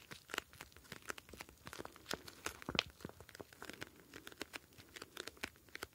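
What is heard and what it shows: A square clear plastic gel bead ice pack filled with blue gel beads is held in both hands and squeezed and crinkled with the fingertips. The result is a steady run of dry, bright crackles and crinkles with short, sharp snaps and little low end.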